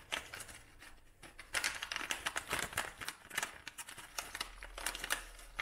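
A dried lavender bouquet wrapped in a brown kraft paper cone is squeezed and crinkled by hand. Irregular bursts of dry, bright crackling rise and fall with brief quieter gaps between them. The crinkles are sharp and short, with little low rumble.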